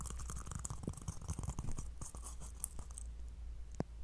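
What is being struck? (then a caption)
Whole coconut with fibrous husk. A whole, fist-sized brown fibrous coconut with a hollow, intact-looking shell is held in both hands close to a microphone while fingertips and nails scratch and rub its hairy husk. Dense, crackly scratching and brushing plays over a steady low rumble, with crisp, bright scrapes throughout and one sharper snap near the end.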